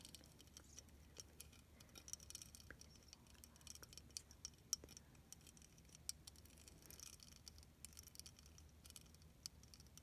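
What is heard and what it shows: Long, silver-painted nails tap and scratch across the bumpy beads of a flat, hand-sized, clear snowflake ornament made of many small plastic beads, solid rather than hollow, held in one hand. Quiet, sharp, bright clicks and scratchy ticks come in an irregular patter over a faint low hum, each dying away almost instantly.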